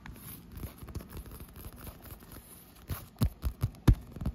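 Fingertips and long white-painted nails tap and scratch a large blue textured PVC vinyl surface, likely the air-filled wall of an inflatable pool. Soft, dull, low scratching and patting runs through the first three seconds. Then five louder, deep thumps land in the final second and a half.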